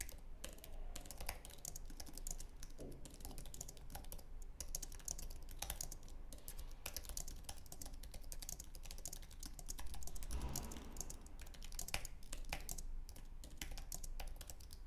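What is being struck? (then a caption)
Aluminum and plastic low-profile keyboard. Fingertips type continuously on a white, low-profile Apple Magic Keyboard with an aluminum base and plastic keys, resting on a wooden desk. Rapid, light clicks and taps run without pause, each dying away almost at once, over a steady low hum.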